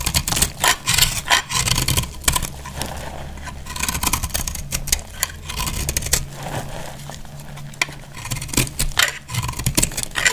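A hand-held solid bar of dried yellow-orange soap is cut and scraped with a box-cutter blade, shaving off crumbly pieces. Repeated dry, bright scraping and crisp cutting bursts sound over a steady low hum, with brief quieter stretches of lighter scraping between the stronger strokes.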